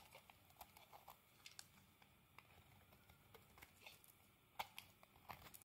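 A utility blade scrapes thin shavings off a solid green soap bar held in the hand. The result is a quiet series of short, crisp, irregular scrapes and ticks with bright, high edges over a soft background hiss.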